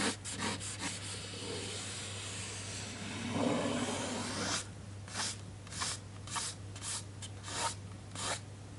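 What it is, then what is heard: Paper book page scratched with a fingernail. A fingertip and short nail trace and scratch over the illustration on a printed paper spread of an open hardcover children's book resting on a desk. A long, continuous dry rubbing gives way to about seven separate, bright scratchy strokes, all over a faint steady low hum.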